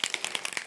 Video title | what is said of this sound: Craft Dies by Sue Wilson -- Tutorial Video; Mother of Pearl Frosted Ornament | you can hear the mixing ball in there